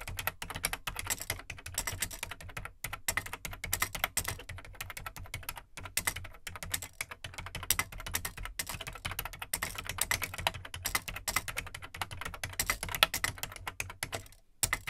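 Fingertips type steadily on the plastic keycaps of an Amstrad CPC 464 home computer, which has a large, hollow, black plastic case. The result is a dense stream of short, bright plastic clacks with very quick decay over a low, steady hum. The typing pauses briefly near the end.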